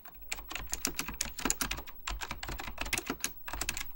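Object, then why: Plastic mechanical computer keyboard. Fingertips type rapidly on an Apple Extended Keyboard II, a plastic mechanical computer keyboard with beige plastic keycaps and a hollow plastic case. A dense stream of short, bright, clacky key taps rings off almost instantly, with a faint low thump under each press.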